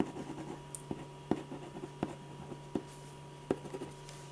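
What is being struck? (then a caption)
Ballpoint pen on drawing paper over a firm board. A metal ballpoint pen tip scratches short strokes across a large sheet of white drawing paper in a paper sketch pad, resting flat and solid on a firm board, while drawing a face. Soft, dry scratching patters along, broken by several sharper, brief ticks as strokes land. A low steady hum sits underneath throughout.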